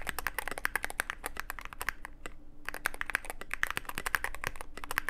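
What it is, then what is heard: Mechanical keyboard with plastic keycaps. Fingertips of both hands type continuously on a Cyberboard mechanical keyboard with plastic keycaps and a dark case. Rapid, crisp clacks with a bright, mid-high click tone and a low thock beneath fill the clip, with a brief lull around the middle before the typing resumes just as quickly.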